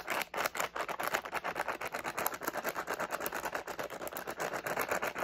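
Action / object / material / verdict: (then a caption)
shake / plastic candy pouch with candies / plastic / none. A medium flexible plastic SweeTARTS candy pouch with candies inside is held in both hands as fingertips crinkle, squeeze and shake it. The result is a fast, continuous stream of dense crinkling and rustling with sharp, bright crackles and little low end.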